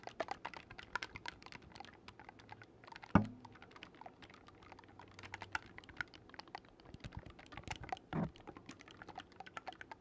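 Fingers quickly click the metal keys of a black wooden oboe, a hollow tube held close to the mic, producing a rapid stream of soft, dry, short clicks. A louder hollow thump stands out near the 3-second mark and another around 8 seconds.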